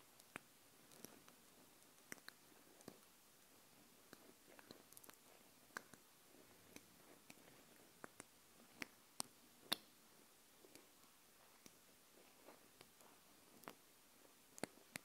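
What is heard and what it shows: Long blue-painted nails scratch and tap the ribbed edge of a black plastic screw cap on a small dropper bottle with a clear dropper tip. Quiet, bright clicks and faint scratches come scattered over a soft hiss, each dying out almost at once.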